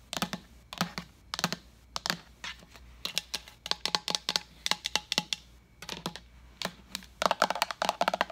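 An empty, large translucent plastic pitcher is tapped with long nails on its side and base while being turned. The result is quick, bright, clicky taps in uneven bursts and rapid flurries, each dying away almost at once with a light hollow tone.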